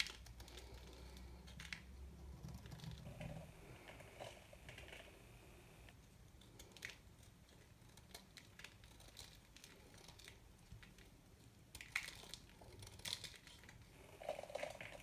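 A small metal knife shaves and cuts small pieces off the corner of a very dry, hard white soap bar held in one hand, with crumbs falling onto a black plastic sheet. Quiet, crisp scraping and crunching cuts repeat throughout, with brighter, sharper snaps near the end.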